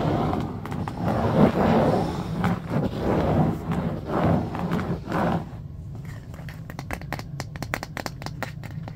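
A hand-sized striped bamboo paddle hairbrush with black bristles and a solid wooden back rests on carpet and is then lifted, while fingernails scratch and tap its wooden back. For about five seconds there are swelling bursts of dry, raspy scratching over a low rumble. These give way to a quicker run of sharp, crisp wooden taps that stop short with almost no ring.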